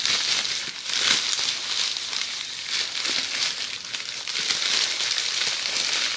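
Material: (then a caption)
Plastic. Long polished fingernails scratch a bundle of red plastic bubble wrap resting on a table. The result is a steady, bright crinkling and crackling rustle with almost no low end, swelling and easing in loudness throughout.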